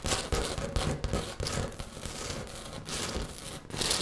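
Fingertips and nails of both hands tap and scratch a flat bathroom wall of small textured beige ceramic tiles beside a round mirror, with the microphone held close to the solid surface. Quick, dry taps and bright, gritty scratching come in uneven bursts over a low rumble, each sound dying away almost at once.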